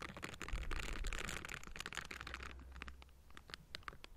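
The hollow metal mesh grille of a Blue Yeti microphone is scratched with the bristles of pink silicone scrubbing gloves, with hands on both sides. Dense, bright bristly scratching fills the first half over a steady low hum, then thins into sparser, sharper scrapes and ticks.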